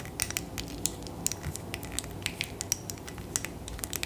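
Long nails tap rapidly on a tall glass bottle filled with purple liquid. The result is a quick, uneven run of sharp, bright clicks with brief high glassy pings over a faint scratchy hiss.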